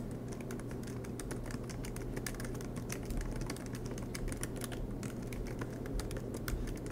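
Fingertips tap steadily on the black plastic keys of a MacBook Pro aluminum laptop, making a quick run of soft, bright clicks. Under the typing runs a constant low hum.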